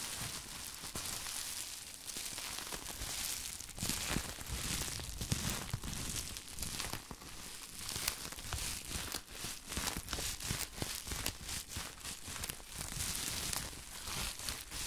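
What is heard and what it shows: Both hands, wrapped in large sheets of clear plastic bubble wrap and held in front of the mic, squeeze and crinkle the wrap. The result is a steady, bright, dense crinkling and crackling with many sharp little snaps scattered throughout, and a soft low rustle underneath.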